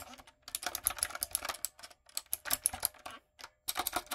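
Rapid typing on a backlit, typewriter-style mechanical keyboard with round retro plastic keycaps and a hollow body, using long coffin nails and fingertips. Sharp, bright, clacky keystrokes come in quick bursts separated by brief pauses, with almost no low end and a dry, instant decay.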